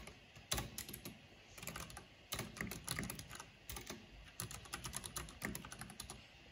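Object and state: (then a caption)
Plastic mechanical keyboard. Fingertips and long nails type fast on a black plastic mechanical keyboard with a purple backlight, tapping the keys. The result is a quick run of bright, clacky key clicks with soft low thuds beneath, each tap dying away almost at once, coming in uneven bursts with brief pauses between.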